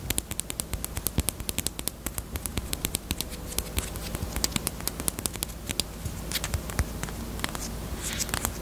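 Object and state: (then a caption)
Hollow plastic chapstick case. A small, pink, hollow, hard plastic Peep bunny-shaped chapstick case, closed, is tapped with long nails on its front and side. The taps come as a rapid, uneven stream of sharp, dry, bright clicks that die away almost instantly, over a steady low rumble.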